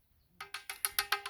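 An old clay water pot, about 50 years old and still intact, is struck to test its strength and quality. Seven separate taps each give a short, bright, chime-like metallic ring. The ringing tone marks it as a good, durable pot.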